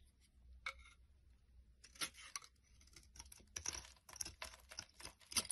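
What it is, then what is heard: Bar of laundry soap being shaved. A solid tan rectangular bar of laundry soap, held in the hand, is shaved with a utility knife blade, so dry crumbly flakes fall off. Quiet, bright, crackly scraping strokes come in quick, irregular bursts over a faint low hum, growing busier toward the end.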